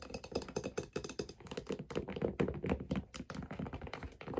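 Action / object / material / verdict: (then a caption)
tap / figure skate sole and metal blade plate / leather and metal / none. Long dark nails tap rapidly on the underside of a white figure skate held in the hands, striking its brown leather/wood sole and the silver metal blade mounting plate with its screws. A quick, steady stream of short, dry, low-pitched taps and thunks sounds with almost no ring and little high-end brightness.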